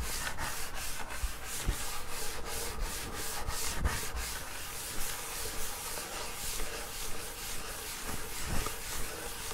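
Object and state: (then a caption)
Wood-grain school desk top being rubbed. Hands and fingers rub across the flat top of a wood-grain school desk, a large solid panel. A steady, dry rubbing hiss carries on throughout, with bright strokes that come and go over a low, dull rumble.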